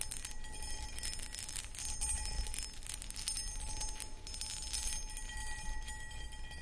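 Long acrylic nails tap and scratch the outside of a medium-sized, empty, hollow clear cut glass pedestal bowl with a footed base and a textured starburst pattern. The clicks and scraping run continuously and are dense and bright, with faint high glassy ringing tones over a low background rumble.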